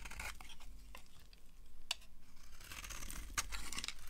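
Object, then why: Bar of soap cut with a metal blade. A solid green bar of dry soap, held in the hand, is shaved and carved with a yellow-handled utility knife, its metal blade scrape-cutting curled flakes that pile onto a grey surface. The result is a run of quiet, dry, crisp scraping and rasping strokes with bright, hissy edges and a few sharper clicks, over a low, steady rumble.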